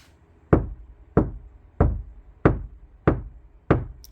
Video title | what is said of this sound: 카오디오 튜닝. 재료 고유 주파수 특징, 스피커 인클로저 튜닝, 스포티지 nq5 패리 카오디오 작업 2-5 Car audio tuning Material Frequency | 약간의 나무 소리입니다. 맑은. 근데 완전 딱딱한 나무소리는 아닙니다.